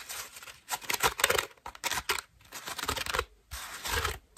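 Long nails scratch the petals of a cream-colored foam bath loofah held in the hands and then brought close up. Dry, bright, rasping scratches come in quick bursts with short pauses between them, and each one stops cleanly with almost no ring.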